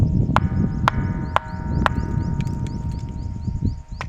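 A natural boulder known as a ringing rock, near Babusala village, is struck several times with a smaller stone. Each strike gives a sharp clink followed by a sustained bell-like tone around 1 kHz, instead of the dull thud a rock usually makes. A steady low rumble runs underneath.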